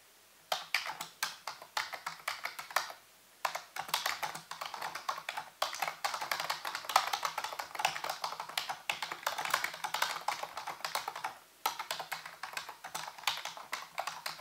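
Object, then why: Plastic computer keyboard keys. A full-size black plastic keyboard with hollow keys, sitting on a white base, is typed on rapidly with the fingertips. The result is a dense stream of crisp, bright clacking key taps with almost no low end, broken by two brief pauses near 3 and 11.5 seconds.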